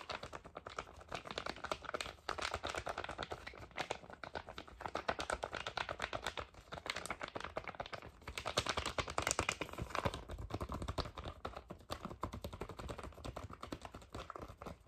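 Fingernails tap and scratch a flat red foil/plastic cosmetic sheet-mask pouch with a printed label, held in one hand. The result is a dense, continuous stream of quick, dry crinkly clicks and scratches with very little ring, growing somewhat louder in the middle of the clip.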